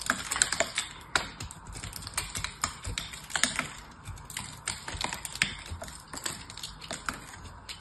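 A small knife scrapes and cuts through the silver metallic coating of a hand-held oval soap bar and into the dry soap beneath. It makes a dense run of short, crisp, bright crackles and clicks with almost no ring. Louder snaps stand out now and then over a steady scratchy texture.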